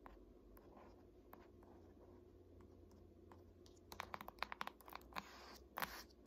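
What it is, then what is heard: Hardcover textbook. Long nails and fingertips scratch and tap the glossy front cover of a large, solid "Art History" hardcover paper textbook. A soft, steady scratching fills the first few seconds. Sharp, dry clicking taps with bright edges then come in quick clusters toward the end.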